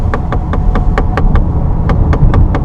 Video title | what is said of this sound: [시승기] 신형 k7 하이브리드, 기름 한 번에 1000KM 달려 | 두드려 봐야지 아 이게 플라스틱이구나를 알 정도로